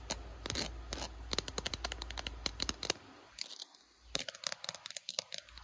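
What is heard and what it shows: Long blue acrylic nails rapidly tap the back and camera area of a handheld smartphone in a clear glitter plastic case. The result is a fast run of sharp, bright plastic clicks with a faint low hum under the first half, a short quiet gap around the four-second mark, and then more quick taps.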